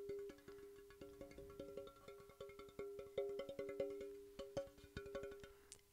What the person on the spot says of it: sort of sine wave type sound which is really cool